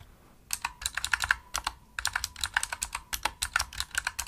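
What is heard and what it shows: Fast typing with fingertips and long nails on a full-size pink plastic opto-mechanical gaming keyboard produces dense, clicky key taps, about 24 in all, in quick bursts with short pauses. Each tap is a short, sharp, bright click centered around 1.5 kHz, with very little low end and almost no ring.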